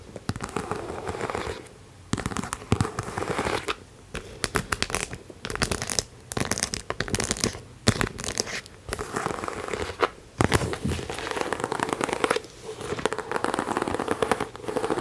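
A medium pink croc-embossed faux leather top-handle handbag, hollow, is held in hand and tapped and scratched with long manicured nails on its front panel. Bursts of dry crackling taps and scratchy rasps come in rapid clusters separated by short quiet gaps, with a bright, papery texture over a low thump.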